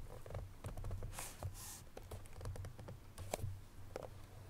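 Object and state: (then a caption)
Cardboard box tapped with nails. Long fingernails on both hands tap a small cardboard Chloé perfume box held at its sides, making quiet, rapid, dry clicks over a soft hollow thump. A couple of brief brushing swishes come through in the middle, and a faint low hum sits underneath throughout.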